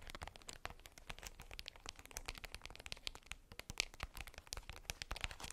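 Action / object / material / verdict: scrape / tissue paper wrapped ball / tissue paper / none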